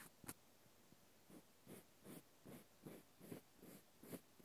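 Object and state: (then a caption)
Cork stopper scratched with a cotton swab. The end face of a small solid cork wine stopper, held in the hand, is scratched with a cotton swab in a series of soft, quiet, dry scratching strokes. Each stroke is a brief breathy rasp with little ring and short gaps between.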